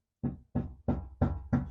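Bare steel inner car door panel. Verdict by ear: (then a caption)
Undamped. Five taps on the bare sheet-metal inner door panel of a BMW E46 3-series, with the door card, vapor barrier, window and window regulator removed. Each tap gives a short, low, hollow knock. The panel sounds a little tinny and undamped, which is the reason for adding sound-deadening strips inside the door.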